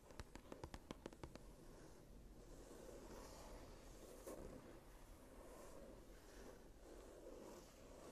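Fingertips and long nails scratch and rub the blank cream paper pages of an open journal lying flat. About ten quick, sharp scratches open the clip, then a steady, soft rubbing with a low, papery rumble and faint bright hiss continues to the end.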